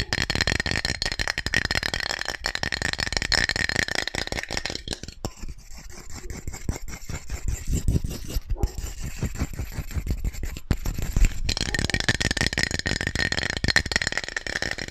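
A hand-sized purple and white aluminium aerosol deodorant can with a red-white cap, hollow and pressurised, is held in one hand close to the microphone and shaken fast so its mixing ball rattles, while fingers also tap the can and cap. The result is dense, rapid clicking and rattling with a bright metallic ring, easing briefly in the middle before the vigorous shaking returns.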